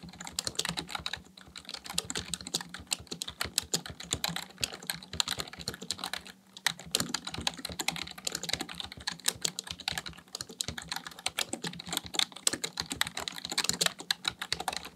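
Fingertips type rapidly on the keys of a black plastic full-size computer keyboard resting on a desk. A dense, steady stream of short, bright clicks and clacks with almost no ring runs throughout, with a brief lull around the middle and a faint low steady hum underneath.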